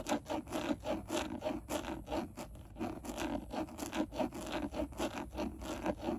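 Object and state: Plastic steering wheel airbag cover.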